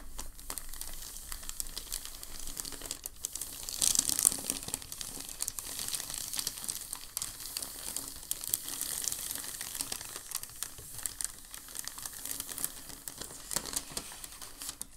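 Fingertips press and slide along the edge of a large, thin, crumpled and creased packing paper sheet resting on a dark table. A steady, bright crinkling runs throughout, with dense crackles and a louder burst of rustling about four seconds in before settling back to a soft, continuous crinkle.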